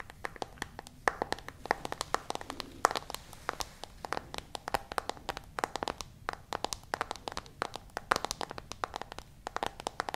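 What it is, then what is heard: Smartphone screen tapped with fingernails. Long nails tap and scratch across the glass screen of a smartphone in a white case, making a dense stream of sharp, dry clicks with faint scratchy texture between them. Each tap is brief, with no ring, and sits in the mid-to-high range.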